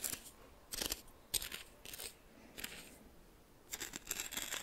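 Coarse white salt in a small bowl, seemingly glass, is stirred and scraped with a red plastic spoon held in the fingers. It makes bright, scratchy crystal scrapes in short bursts separated by quiet pauses, with very little low end.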